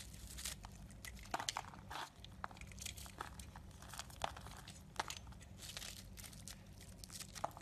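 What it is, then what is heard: Bar of soap being carved. A yellow utility knife blade scrapes and chips a solid, hand-sized, black-and-white marbled bar of soap, making dry, crinkly crunching sounds with sharp bright clicks as pieces break away. A low, steady hum sits underneath the quiet carving.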